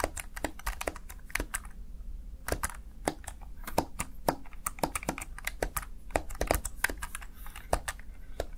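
Fingertips rapidly tap and press the keys of a small black plastic backlit Razer Tartarus Chroma gaming keypad. The result is a fast, uneven stream of short, crisp plastic clicks with bright ticks, each dying away almost instantly, over a steady low background hum.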